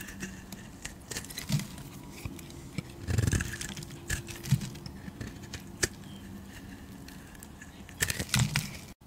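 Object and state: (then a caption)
Bar of soap being carved. A hand-sized solid bar of green soap with a gold edge is held in the hand while a knife and a blade cutter carve and peel curled slices from it. The sound is a series of soft, dry scraping and crackling cuts with a low rumble underneath. Brighter, sharper clicks stand out among the cuts.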